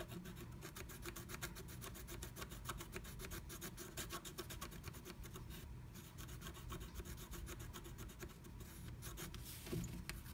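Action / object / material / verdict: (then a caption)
scrape / scratch art paper scraped with a pointed wooden stick / coated paper / none. A pointed wooden stick scratches the coating off flat black scratch art paper inside a diamond-shaped stencil cut-out. Fast, steady back-and-forth strokes make a dry, bright rasping sound over a constant low rumble, with a slightly louder stroke near the end.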